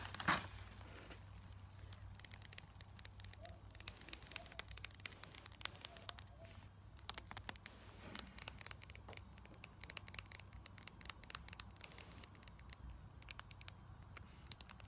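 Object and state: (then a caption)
Metal lipstick tube tapped with nails. Long acrylic nails tap and scratch along a small, hollow gold metallic lipstick tube with a patterned band, held in both hands. Quiet, bright clicks and scraping crackles come in dense, irregular bursts throughout, with a steady low hum underneath.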